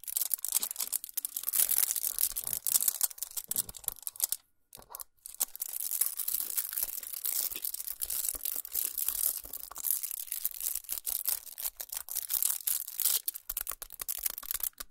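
Fingernails scratch and crinkle the aluminum foil wrapping a chocolate bar, making dense, bright crackling and rustling that is almost entirely high-pitched with very little low end. The crinkling runs steadily for about four seconds, breaks off in a brief near-silence, then resumes and continues to the end.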